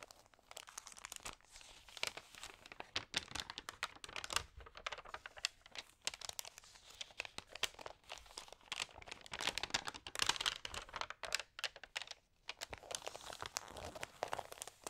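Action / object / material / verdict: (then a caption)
scrape / paper magazine pages / paper / none. Hands with long nails rub and flip the pages of a thin, damp paper magazine up close. Dense, bright crinkling and crisp rustles come in quick bursts with short pauses, with almost no low end.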